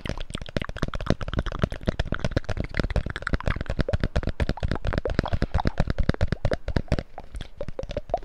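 A hand-sized, hollow, empty pink hard plastic cup is held beside the mic and tapped and scratched with fingertips and nails. The result is a fast, continuous stream of short, dull, hollow taps with a low, thumpy body, mixed with faint scratchy rasps.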